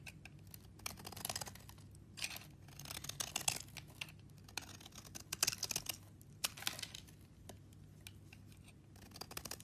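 A metal blade scrapes and chips the dry surface of a green solid bar of soap held in hand, shaving it into powder and flakes. Bright, crisp rasping and crackling scrapes come in bursts with short quiet gaps, over a faint steady low hum.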